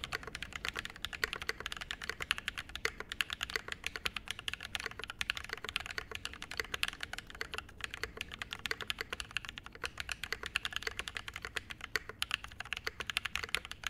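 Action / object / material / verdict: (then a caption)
tap / mechanical keyboard, metal case, brass plate, ABS keycaps / brass, plastic / none. Fast two-handed fingertip typing on a 65% mechanical keyboard with a metal case, brass plate and double-shot ABS keycaps, resting on a desk mat. A dense, rapid stream of short, bright clacks with almost no ring, each keystroke crisp and sharp with little low end.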